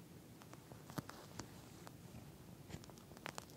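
Long fingernails on both hands scratch and tap across a pink, flat eye mask with a clear plastic shell filled with small gel beads. Quiet, soft scratching with a low rumble runs throughout, broken by short, sharp, bright taps and clicks that stop almost instantly.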